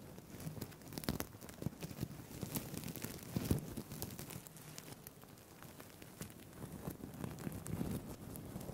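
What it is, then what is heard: Plastic sequin fabric being scratched. A green-blue sequined fabric tie is held close to the mic while fingertips and nails scratch and rub its plastic sequins. The result is a quiet, continuous crackling and scratching with sharp clicky bursts and a soft low rustle underneath.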